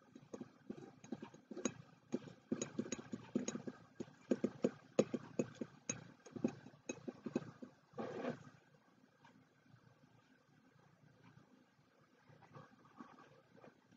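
Fingertips and short nails from both hands tap and scratch the sides of a medium white ceramic mug with a handle and a tea bag string hanging over its rim. Quick, dry, hollow taps come in a dense, irregular run for about eight seconds. They fade into soft, faint scratching with only a few light taps near the end.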